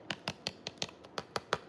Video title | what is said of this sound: 🇲🇽 Hannah makes BLACK BEAN TOSTADAS! 🇲🇽 | if I tap it, you can hear it got nice and crispy